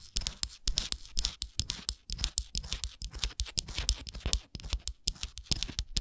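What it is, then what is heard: Wooden souvenir ornament scratched with nails. Long nails scratch along the ridged edges of a small, solid, printed wooden Canada souvenir ornament held in the hands. The result is a rapid run of short, dry, bright scratching strokes over a low, soft thump, with very little ring after each stroke.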